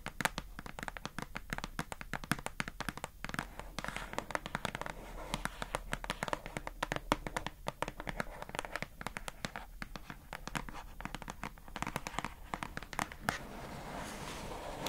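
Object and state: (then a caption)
Plastic storage box tapped and scratched with nails. Long acrylic nails tap and scratch quickly across the front of a hollow, rectangular pink plastic box that holds a squishy and carries a printed paper label, while the box is held in both hands. The result is a dense, steady stream of sharp, dry clicks and scraping crinkles that die away instantly, with a bright edge and a soft low undertone.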